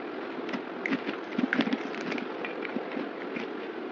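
A yellow box cutter blade scrapes thin shavings off a solid oval white soap bar held in the hand. The steady, dry scratchy rasp is broken by short, crisp bright clicks and scrapes, with a few louder strokes near the middle.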